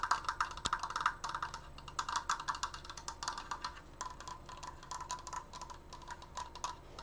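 Long nails tap quickly on the outer slats of a large stained wooden triangular Triforce frame, producing a dense run of dry, bright woody clicks centred around 1.3 kHz. Each tap dies away almost at once, and the tapping is loudest in the first couple of seconds before settling into a softer, steady patter.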